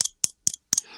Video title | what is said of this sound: Doc Lucky's Yo-Yo Talk Episode | i don't know if you can actually hear it but it's hollow this thing is actually hollowed out